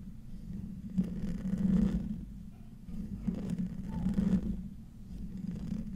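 Short nails and fingertips slowly scratch the hollow metal mesh grille of a silver condenser microphone. The result is a close, muffled, low scraping rumble centered around 200 Hz, swelling in two slow passes with faint grainy texture above.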